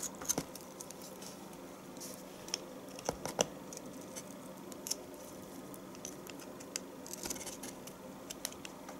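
A knife steadily shaves curls from the top of a solid bar of household soap, producing a quiet run of soft, crisp scraping and crackling with bright, high-pitched edges. Sharper clicks stand out over a steady low hiss.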